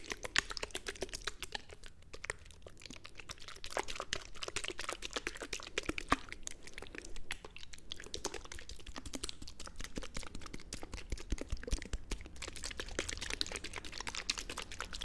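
A small white plastic skincare tube, hollow and seemingly partly full, is held in one hand and tapped continuously with long red-painted nails. The result is a quiet, steady stream of quick, dry plastic clicks and light crackles with no ring after each tap, over a low, soft rumble.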